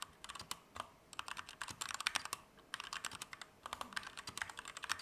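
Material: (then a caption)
Plastic. A compact Keychron K2 V2 mechanical keyboard with Gateron Red switches, plastic keycaps and an aluminum frame is typed medium to fast with fingertips. Bursts of sharp, bright plastic clacks come in quick runs with brief pauses between them. Each keystroke is crisp and dies away almost instantly, with very little low end.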